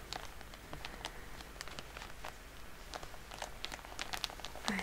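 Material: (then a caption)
Soft plastic. A medium-sized Shiseido cotton pad pack, full of pads in a soft plastic wrapper, is held on a table and crinkled and tapped with long polished nails. Quiet, steady crinkling runs throughout, broken by many short, bright ticks and crackles that fade almost at once, over a low, soft background hum.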